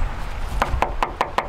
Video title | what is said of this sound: I crashed my Smarty! | Hear that tin can? Sounds like plastic, right?